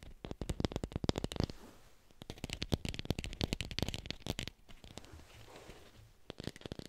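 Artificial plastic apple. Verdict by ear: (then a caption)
Fake. An artificial plastic red apple is tapped quickly with fingers and recorded on a hi-fi microphone. Bursts of rapid, dry, clicky taps with almost no ring come in clusters separated by short quieter pauses, with a low body and a bright crisp edge.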